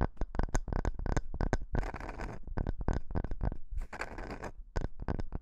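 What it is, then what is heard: Wooden log slice, scratched. Fingertips and nails rub and scratch a solid, round wooden log slice about 15 cm across with visible growth rings. Quick dry taps and scratches alternate with longer bursts of hissy scraping that reach up into bright high tones, over a low thumpy body. Each sound stops almost instantly with no ring.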